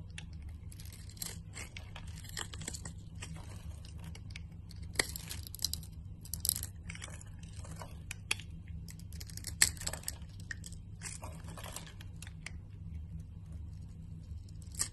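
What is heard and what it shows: A utility knife blade scrapes a solid, translucent orange glycerin soap bar held in the palm, cutting it into small cubes. Repeated bursts of dry, bright, crackling scrapes come in quick clusters over a steady low hum, with a few sharper clicks standing out.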